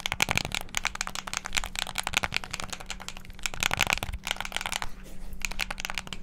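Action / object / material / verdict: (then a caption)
tap / plastic game controller / plastic / none. Fingertips and thumbs rapidly press the buttons and sticks of a hand-sized, hollow black plastic Xbox controller, producing a dense, continuous stream of sharp, bright plastic clicks and clacks with no ring. A faint steady low hum runs beneath the clicking for most of the clip.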